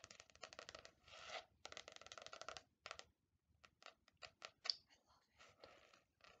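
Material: Faux leather.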